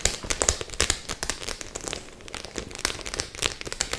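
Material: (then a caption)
Metal studs. A flat white studded faux-leather clutch bag covered in rows of metal studs is held upright in both hands while long acrylic nails scratch and tap across the studs. Quick, bright crackling clicks and scrapes come in dense irregular bursts, with louder taps standing out early and near the end.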